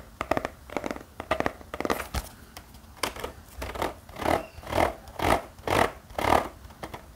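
A small spiral notepad with a black cardboard cover and metal wire binding is held in the hand and scratched and tapped with the fingertips. Quick clusters of crisp, dry scratches and taps come first, followed by slower, evenly spaced swelling scrapes about twice a second with a papery midrange rasp.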